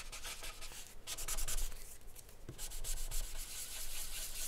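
A thick dark charcoal stick is rubbed firmly over a flat sheet of white drawing paper bearing a charcoal portrait, on a wooden desk. The result is a continuous, gritty, sanding-like scratching made of repeated strokes with a bright hiss on top. Faint low thumps come from the desk underneath.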